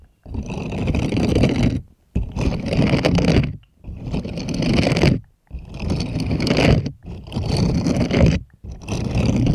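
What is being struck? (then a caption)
Silicone bristled scrubbing glove. Plastic puppet hands scratch and scrape the palm bristles of a purple bristled silicone scrubbing glove. Six separate bursts of rough, rustling scraping are heard, each lasting over a second, with short silent gaps between them. The sound is dense and weighted toward the low end, with a faint bright hiss on top.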